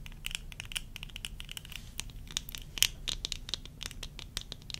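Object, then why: Plastic eyeglass frames and lenses. Long nails scratch and tap the rims and lenses of worn tortoiseshell plastic eyeglasses. A steady run of quick, dry, bright clicks and scratchy ticks dies away instantly, with one sharper tap standing out near the middle. A soft low rumble sits underneath throughout.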